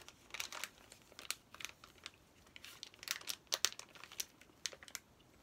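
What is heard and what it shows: Fingertips and nails rub, crinkle and tap the plastic wrapper of a flat, plastic-sealed Paw Patrol paper activity play pack while turning it over. Soft, dry, high crinkles and sharp little taps come in irregular bursts over a quiet background, with no low rumble.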